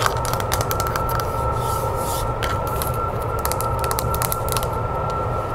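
Long nails tap and scratch the beige back panel and the handle of a wooden-framed hand mirror lying face down. The result is a quick run of light, crisp clicks over a steady low hum, with a faint, even tone throughout.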